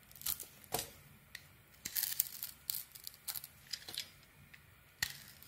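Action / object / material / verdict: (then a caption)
scrape / bar of soap cut with a small metal blade / soap / none. A small metal blade carves curls from a solid, rounded white bar soap with a white interior and a gold edge. The result is a series of quiet, irregular bursts of crisp, bright scraping and crackling, each with a short, dry finish and little low end.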